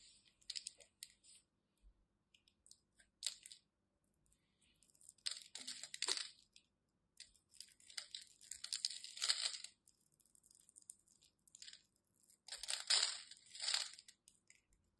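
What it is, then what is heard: Bar soap being carved. A solid white bar of soap, held in fingers with long red nails, is carved and scraped with a craft knife as crumbs fall away. Bursts of bright, crisp crunching and scraping come in uneven clusters with short quiet gaps between them. The sound is quiet and almost entirely high-pitched.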